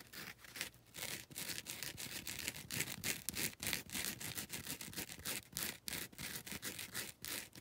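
Long red nails scratch the grey-grit abrasive surface of a foam nail buffer block in quick, slightly uneven strokes, about three per second. Each stroke is a bright, dry, raspy scrape with little low end, and the sound stops almost immediately after each stroke.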